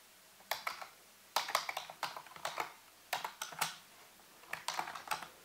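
Fingertips and nails type and tap on the keys of a full-size black plastic computer keyboard with a hollow housing. Sharp, bright, clicky keystrokes come in quick bursts separated by short pauses, each click dying away almost instantly with no low-end thump.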